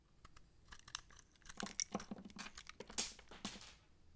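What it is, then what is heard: Dry soap bar being cut. A utility knife blade slices and scrapes the bumps off a solid, bumpy, dry purple massage soap bar held in the palm, breaking them into crumbly pieces. Quick, dry, crisp crunches and scrapes follow one another, bright and sharp with almost no ring. The strongest cut comes near the three-second mark.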